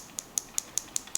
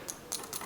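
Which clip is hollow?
The first.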